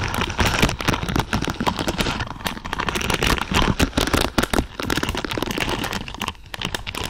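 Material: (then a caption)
Plastic. Long purple nails scratch and rake through a large lavender pad of thin, flexible plastic or silicone pins. The result is a dense, steady stream of crackly, bristly clicks and rustles that stays busy across the whole clip.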